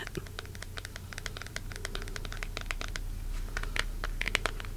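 Fingertips tap rapidly and irregularly on a plastic card carrying case holding a deck of cards, its plastic mostly firm but rather flexible. Each tap is a short, clear, crisp and tinkly click over a steady low hum.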